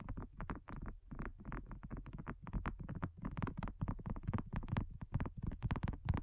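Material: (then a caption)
Silicone. Long nails and fingertips tap rapidly and unevenly on a thin, solid, flat round pink dotted silicone coaster. The taps are soft, dull and thuddy, mostly low in tone, with no ring after each strike.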